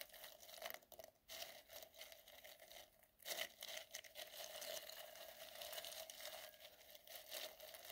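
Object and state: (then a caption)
Glitter-coated styrofoam balls brushed. A soft white makeup brush, held in the fingertips, is brushed and rubbed over many small solid gold glitter-coated styrofoam balls in a clear glass bowl. The result is a quiet, bright, crackly scratching and rustling with almost no low end. It runs in uneven strokes, with a brief pause near the start and a louder burst partway through.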